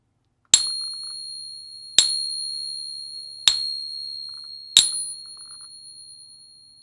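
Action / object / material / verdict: flick / silver dollar coin / silver / real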